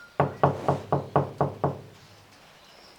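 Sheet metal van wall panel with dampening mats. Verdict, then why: Deadened. Seven knocks strike the sheet-metal wall panel of a Renault Master van that has vibration dampening mats applied. Each knock is a dull, low thud that dies away quickly with little ring, and the deadened panel sounds noticeably muffled.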